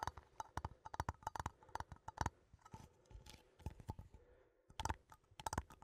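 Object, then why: Small metal coffee tin. A small cylindrical metal coffee tin with a printed label is held in both hands and tapped with fingertips and nails. The result is a quick, irregular run of short, dry taps and clicks with a faint tinny ring. The taps come in clusters, soften to lighter scratchy tapping in the middle, then return to sharper strikes at the end.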